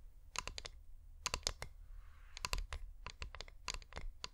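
Fingernails tap and scratch on the sides of a hand-sized, wax-coated flameless LED pillar candle. Quick, sharp, bright clicks come in clusters of about four or five, with a soft scratching hiss between them over a low, steady rumble.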